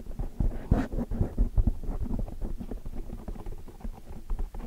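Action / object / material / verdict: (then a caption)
scrape / foam microphone windscreen / foam / none. Long dark metallic nails scratch and rub a large black foam windscreen on a microphone while the hands clasp around it. The result is a dense, muffled rumble of low scraping and soft thumps, with a few louder bumps near the start and almost nothing bright above it.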